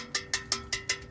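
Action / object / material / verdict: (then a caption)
tap / steel bumper reinforcement bar / steel / solid. An original OEM front bumper reinforcement made of heavier, thicker steel is tapped five times, giving five bright, sharp metallic clinks with a high, short ring that fades quickly between taps. It sounds solid compared with a hollow-sounding aftermarket reinforcement.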